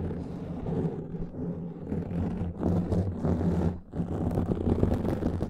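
Fingertips and short nails of both hands scratch a black foam windscreen covering a microphone, rounded and hollow-backed. A dense, muffled, low rumbling scratch with a steady hum runs throughout, dipping briefly near the end before resuming.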